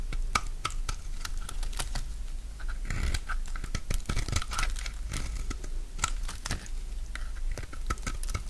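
A solid rectangular bar of dry pink soap is held in hand and shaved and cut with a utility knife blade. A dense run of sharp, dry scraping and crunching cuts crackles over a low hum, with brief bright tones ringing near 1.2 kHz.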